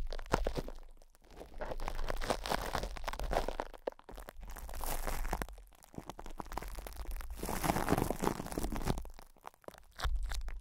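Both hands rub, pinch and scratch with their fingertips at cling film wrapped over a metal microphone grille. Dense bursts of crinkling, crunching plastic rise and fall in several waves with brief quieter gaps, over a steady low rumble.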